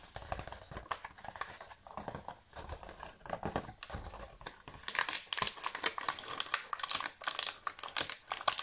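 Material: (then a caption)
Plastic. A thin, hollow, empty clear/silver thermoformed plastic chocolate insert tray is held in both hands while fingertips and nails tap and press its cavities. This makes quick, dry, crinkly clicks and crackles that die away almost instantly and sit mostly in the bright upper range. The tapping turns louder and denser from about the five-second mark.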